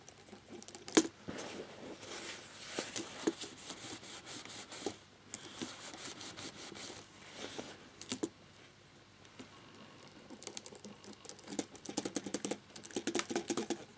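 A black plastic laptop keyboard with its keycaps on lies flat, held with one hand while the other rubs and scrubs between the keys with a cotton swab, and briefly with a cloth. Soft, scratchy rubbing and scraping come in uneven bursts with bright, hissy friction, separated by quieter pauses.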